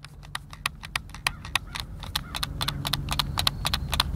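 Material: Plastic.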